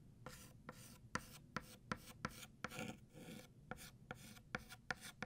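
White chalk is drawn across a flat black chalkboard, thickening the letters of the word "New." A quick series of dry, rasping strokes each starts with a sharp scratchy tick and carries a bright gritty hiss. There are brief pauses between strokes.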